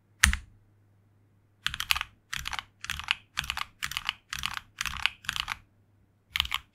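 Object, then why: Mechanical keyboard with plastic keycaps. Fingertips type rapid key presses on a tenkeyless HyperX Alloy Origins Core mechanical keyboard with red linear switches and grey and red PBT plastic keycaps, resting on a desk mat. A single sharp clack is followed by a short pause, then a steady run of quick, bright clacky bursts with a soft thock underneath. A faint low hum runs throughout.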